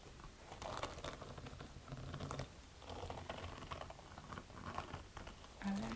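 Long red nails scratch the upper of a beige perforated suede low-wedge flat shoe, hollow and empty, resting on a cloth-covered table. The result is quiet, dry, rasping strokes that come in uneven bursts, with soft brushing texture over a low, muffled undertone and almost no ring after each stroke.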